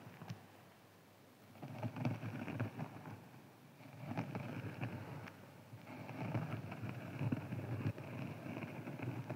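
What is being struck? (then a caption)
Foam sponge. A hand-sized green foam sponge is scratched with fingertips and rubbed with a flat hand, giving soft, dry, low-pitched scratching and brushing in three bursts separated by brief quiet pauses. The rustle is muffled and dull, with quick crackly scrapes and no ringing.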